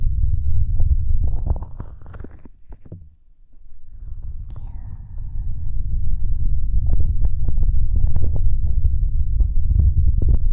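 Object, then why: Plastic shell of a dummy-head microphone. Flat fingers of both hands rub and tap the hollow gray plastic shell of a binaural dummy-head microphone. The result is a deep, muffled rumbling thump with quick, uneven taps layered over it. The sound fades briefly around the third second, then returns to a steady, close rubbing patter, with a faint thin squeak partway through.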